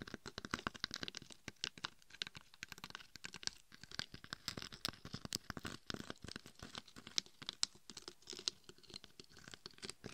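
Long acrylic nails scratch and tap the rough glitter surface on the sides and top of a glitter-covered dummy head microphone held in both hands. The result is a dense, rapid stream of dry, bright scratching and crackling clicks with almost no ring and very little low end.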